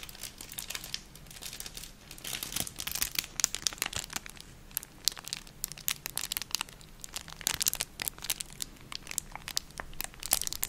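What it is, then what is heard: Clear plastic packaging bag. A small, thin, empty clear plastic packet with crinkled silvery film inside is squeezed, crinkled and scratched with long nails and fingertips. Dense, bright, crisp crackles and sharp rustling snaps come in bursts throughout, with little low end and almost no ring after each snap.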